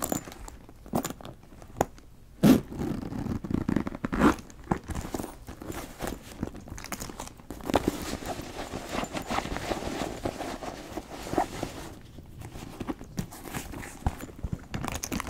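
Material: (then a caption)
Leather. Fingernails scratch the surface of a brown leather backpack and tug at its metal ring, zipper and clasp. Soft, dry scraping and rustling run throughout, broken by short zipper rasps and sharp metallic clicks, with the loudest bursts near the start.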